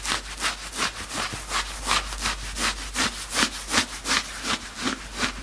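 Fingertips scratch and bunch the grey knit fabric at the belly of a worn sweatshirt, fast and hard. The result is a steady run of bright, hissy scraping strokes, close to three per second, each a short rasping burst over a faint low hum.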